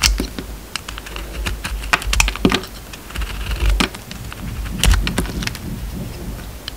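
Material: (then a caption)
Soap. A utility knife blade cuts and scrapes the surface of a solid round bar of soap, peeling away its purple printed outer layer to reveal a pale green core. Quick, crisp ticks and short scraping strokes crackle brightly over a steady low hum, each one dying away almost instantly.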